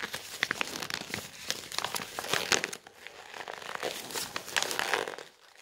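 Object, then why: Glossy coated-paper brochure. Fingertips grip and bend the pages of a large, thin, shiny coated-paper brochure with a floor-plan page, lying on a wooden table. Dense, bright crinkling and crackling runs throughout in quick, sharp bursts with little low end. There is a brief lull near the three-second mark, and the sound fades at the end.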